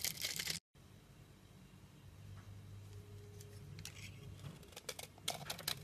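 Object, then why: Olive oil bar soap scraped by a metal blade. A metal box-cutter blade scrapes thin curls off the top of a solid, rectangular, olive-green olive oil bar soap stamped "DALAN" and held in hand. Bright, crisp scraping rasps open the clip, then a brief silence and a quieter stretch with a low steady hum. Sharp, crackly scraping strokes return toward the end.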